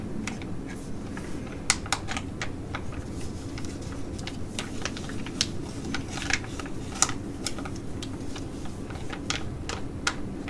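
Long nails tap and scratch the front of a flat, filled ID.AZ Derm metallic foil laminate sheet mask pouch held in both hands. The result is a steady run of sharp, bright, crinkly clicks with a few louder taps standing out, over a constant low hum.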